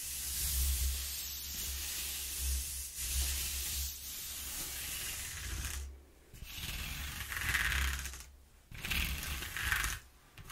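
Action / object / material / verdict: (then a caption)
scrape / corrugated cardboard sheet / cardboard / none. Long nails scratch and pick along the ridges of a ribbed, partly torn corrugated cardboard sheet, making a dry, bright, hissy rasp over a steady low hum. The scratching comes in continuous strokes separated by brief near-silent pauses.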